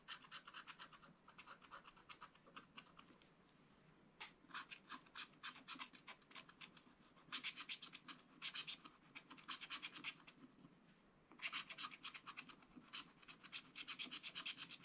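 A wooden stylus scratches and hatches the coating of a black wax-coated scratch-art paper page while a hand steadies the book. Quick, bright, dry scratching strokes come in rhythmic bursts, with brief quieter pauses in between. Each stroke is crisp and short, with almost no low end.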